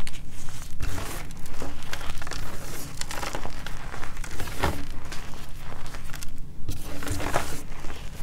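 Bare fingertips dig into a large loose pile of crumbly white gym chalk powder and small chunks in a plastic-lined container, squeezing, crushing and rubbing it through the fingers. The result is a steady stream of soft, dense crunching and crinkling with brief brighter crackles, heavy in the low end.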